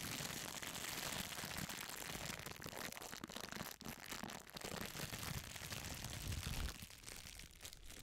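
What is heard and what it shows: A crumpled sheet of clear, thin plastic wrap is squeezed and crinkled by a hand with long pink nails close to the microphone. It makes a dense, continuous stream of bright crackles and crinkles with some low rumble from handling, and it eases to a softer, thinner crinkle near the end.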